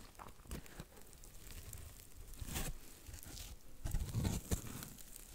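A flat, porous, dry blue cellulose sponge strip is held in both hands and scratched with long nails close to the mic. The sound is quiet, dry, crinkly scratching and patter in an uneven rhythm, with a low handling rumble underneath and brighter, louder rasps around the middle and near the end.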